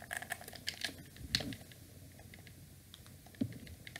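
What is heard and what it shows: Fingertips and thumbs rapidly press and click the buttons of a hand-sized, hollow black plastic wired PlayStation-style gamepad held in both hands, as the controller is turned to face forward. Sharp, bright, dry plastic clicks come in a dense flurry over the first second and a half, thin to a soft patter, then return with a louder click and a few more taps near the end.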